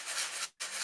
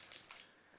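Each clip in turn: First: box containing rice. Second: small box with marbles inside.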